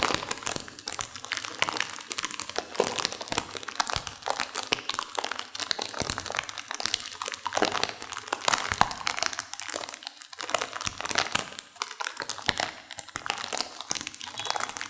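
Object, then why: Plastic instant-noodle packet with dry noodles. A sealed plastic instant-noodle packet with dry noodles inside is squeezed and crunched by hands with long nails. It makes a continuous stream of bright, dense crinkling and crackling with sharp little crunches. The sound has almost no low end, and each crackle dies away at once.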